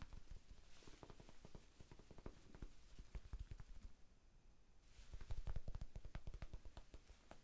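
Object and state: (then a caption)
Foam sponge. A small, soft, solid rectangular pink foam sponge is held in one hand and tapped with the fingertips of the other. Quick, irregular dull thumps, with a quieter pause around the middle before the tapping picks up louder again.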